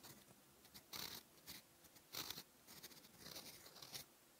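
A steel fountain pen nib, held in the fingers, writes orange ink across a flat cream lined notebook page. The result is a thin, bright, continuous nib scratch that swells into irregular louder strokes, with little low end and no ring.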